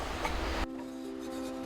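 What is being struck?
Nothing is struck.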